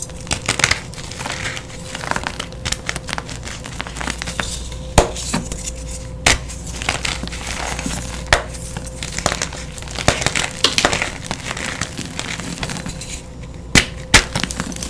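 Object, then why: Pressed gym chalk block. A solid, palm-sized yellow reformed gym chalk block is broken and crushed by bare hands and fingers into crumbly pieces and powder. Dense, bright crunching and crumbling fill the clip, punctuated by several sharp, short snaps, over a faint steady low hum.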